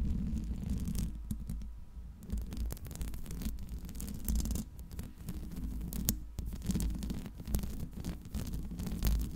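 Long nails scratch the metal mesh grille of a Blue Yeti microphone, producing a continuous low, rumbling scrape with dense rough friction texture and brief brighter streaks throughout.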